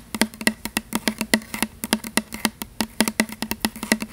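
Long fingernails tap and scratch the surface of a tall plastic "Butterfly" body mist spray bottle with a printed label, hollow and apparently filled with liquid, held in front of the mic. About 29 quick, dry clicking taps ring with a hollow tone around 220 Hz and a bright edge, each dying away almost instantly.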